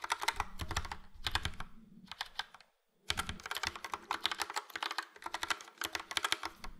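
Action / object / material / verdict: tap / plastic mechanical keyboard / plastic / none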